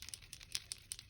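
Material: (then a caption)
Plastic. A new Archer & Olive Acrylograph acrylic paint pen is shaken to activate it, and the small ball bearing inside rattles as it mixes the ink. About eight quiet, bright, clicky rattles come with almost no ring and little low end. This is the pen's normal mixing rattle.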